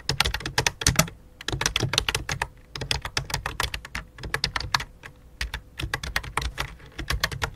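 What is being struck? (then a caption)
Plastic computer keyboard. Fingertips type on a full-size white and light-blue plastic computer keyboard with a hollow plastic body. Rapid bursts of short, bright clicky taps carry a faint low thump beneath them and die away almost instantly, broken by brief pauses between runs.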